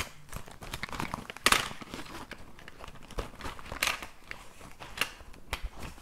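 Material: Fabric.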